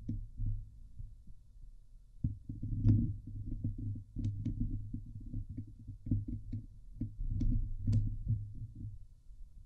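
Long nails scratch across the top and sides of a Blue Yeti microphone's hollow woven metal mesh dome grille. The result is a dense, low, muffled rumbling scrape, quiet at first and then louder and more continuous from about two seconds on. Brief bright ticks poke through now and then.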